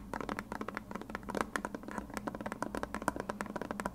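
A white, hand-sized plastic glue bottle with a blue nozzle, hollow and partly filled, is tapped and scratched with long red nails. Rapid, dry clicks and light scrapes come in quick succession, each ringing only briefly around 1 kHz over a faint low hum.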